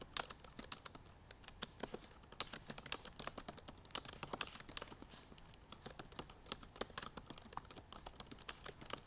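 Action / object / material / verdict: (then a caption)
tap / plastic laptop keys / plastic / none. Long purple nails and fingertips type rapidly on the black plastic keys of a silver aluminum MacBook Pro laptop keyboard. The result is a quiet, steady stream of short, bright clicks and taps with very little low end, each dying away almost instantly.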